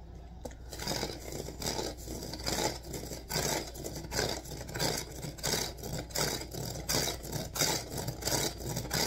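Fingertips and nails of both hands scratch rapidly along the vertical reeds of a hollow rattan/wicker basket with a wooden rim, held upright. The result is a dense, bright, crackling scratch that pulses in quick uneven bursts over a steady low hum.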